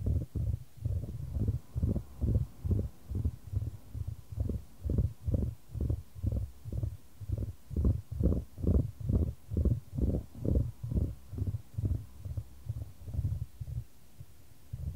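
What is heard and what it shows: A solid, light wooden ball rolls around a shallow square wooden tray held in white-gloved hands, with the tray tilted to keep it moving. The result is a steady series of about 34 low, soft rumbling swells, roughly two per second, with a dull, muffled tone and almost no high or bright content. It fades to near silence just before the end.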